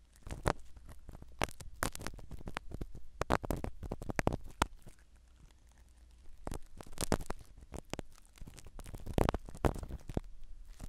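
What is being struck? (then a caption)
Foam microphone cover in a silicone ear. A black spiral ear pick scratches the foam cover of a small black microphone set inside a silicone dummy ear. The result is close, muffled scratching and rustling with heavy low-end thumps, coming in irregular bursts with a quieter pause in the middle.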